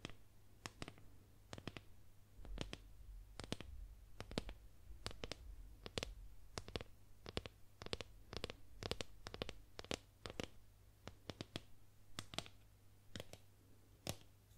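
A solid painted wooden boomerang, held near the mic, is tapped and scratched with long nails, giving a quick run of many sharp, bright, dry clicks with soft scratchy strokes between them. Each tap dies away almost at once over a quiet, steady low hum.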